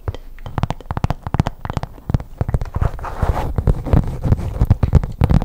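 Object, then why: Faux leather zip pouch. Long pink nails scratch and tap a hollow black faux leather zip pouch with a stitched edge, held close to the microphone. Quick, dry, low-heavy taps and clicks come in an uneven run, broken by a brief rustling scratch, with no ring after each hit.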